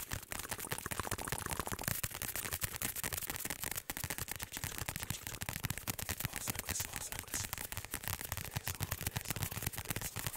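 A large black padded fabric or neoprene ASUS laptop sleeve with a flat surface, held against the mic, is tapped and scratched fast with fingertips and nails. The result is a dense, unbroken stream of quick, dry taps with low thumps and bright, scratchy rasps that lasts the whole clip.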